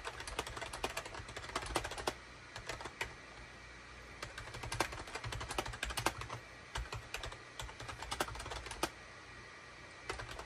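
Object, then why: Plastic computer keyboard. Fingertips of both hands type rapidly on a full-size SHIPADOO K600 wired USB keyboard with a gray plastic case, cream, gray and orange plastic keycaps and a hollow body, resting on a desk mat. Quick bursts of sharp, bright plastic key clicks come in runs separated by brief pauses, each click dying away almost instantly over a steady low background rumble.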